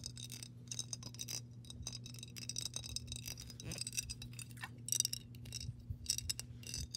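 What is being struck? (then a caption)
Glass jar partly filled with water. Long pink nails tap the body and base of a clear glass mason jar embossed with "MASON," partly filled with water. The result is a rapid run of short, bright glassy clicks and ticks with a faint high ring, over a steady low hum.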